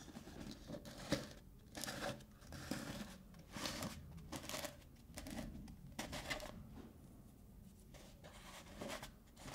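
Fingernails scratch and tap the top and rim of a black plastic lid on a medium-sized, hollow black plastic Lush tub while hands twist the lid. Dry, bright scratching bursts alternate with light taps in an uneven rhythm, each tap giving a short hollow knock that dies away quickly.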